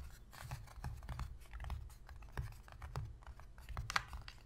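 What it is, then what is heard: Cardboard box lid. Long, pointed pink fingernails on both hands tap quickly on the inner surface of an empty, shallow white cardboard box lid. The result is a quiet, rapid stream of dry, scratchy clicks with a dull low thump beneath. The taps stop dead with no ring, and one sharper, brighter tap stands out near the end.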